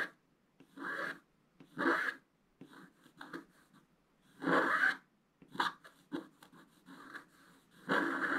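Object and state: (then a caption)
Scratch-art paper sheet. A wooden stylus scratches a flat scratch-art paper page held by one hand, working in small repeated strokes to reveal colour. Each stroke is a short, dry, raspy scrape with a bright hiss, coming in uneven bursts separated by brief quiet gaps.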